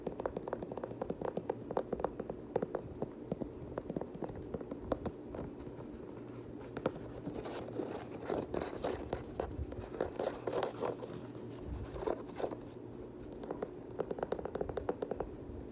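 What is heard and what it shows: Fingernails scratch across the flat laces and knit upper of an empty multicolor knit Nike Kobe 9 high-top sneaker with a rubber sole. The result is a dense run of quick, dry scratching and ticking sounds, soft and mostly in the low-mid range.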